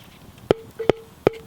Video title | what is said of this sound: Campfire Cooking. Dutch Oven Bread with Bacon Wrapped Halloumi Cheese. Cast Iron Cooking. | tapping the bottom that sounded pretty hollow i'm gonna call that done